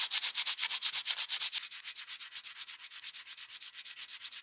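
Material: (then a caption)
Steel. A solid steel plier half held in a vise is rubbed with folded sandpaper by gloved fingers in rapid back-and-forth sanding strokes. About 37 quick, evenly paced scratchy strokes run through the clip, each a bright, hissing rasp with almost no low end and no ring after it.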